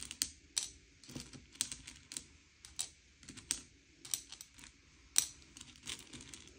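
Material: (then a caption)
Candy shell. Fingertips slide and push a pile of M&M's, small hard sugar-shelled chocolate candies, across a grey plate to sort them by colour. Quiet, bright clicks and clatters come in quick, irregular bursts, each dying away almost instantly. Softer scraping fills the gaps between them.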